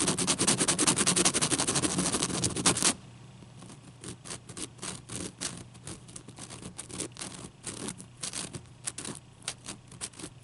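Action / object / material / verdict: scrape / ice cube / ice / none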